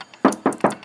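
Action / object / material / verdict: knock / steel car roof panel with damping sheet / steel / solid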